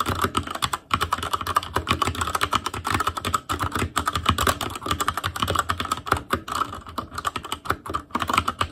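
Fingertips of both hands type rapidly on a full-size ASUS ROG Claymore Core mechanical keyboard with plastic keycaps on Cherry MX Red switches, a metal plate, a hollow case and RGB backlight. Dense, overlapping key taps produce a steady stream of short, sharp clacks with a hollow low thud beneath bright click tops. A couple of brief pauses break the otherwise continuous typing.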